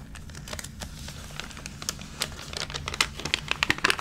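Hands rub and press the crinkled pages of a thick, water-damaged, water-wrinkled glossy paper magazine lying open, pressing with their fingertips. A steady bright crinkling and crackling runs throughout, with sharper, louder crisp snaps growing more frequent toward the end over a faint low rumble.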